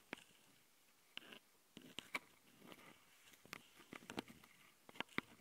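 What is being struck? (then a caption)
Plastic handheld audio recorder. Long painted nails of both hands scratch and tap the plastic housings of the two X-Y mic capsules and the top panel of a handheld plastic Tascam audio recorder. Sharp, bright clicks and taps, each dying away almost at once, are scattered between softer scratching and rustling over a quiet background.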